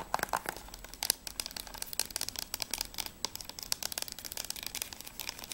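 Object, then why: Closed plastic game case. Long nails tap quickly on the spine edge and then the back cover of a closed, hollow plastic PS3 game case for ICO. The result is a dense run of sharp, dry, bright clicks with almost no ring and very little low end.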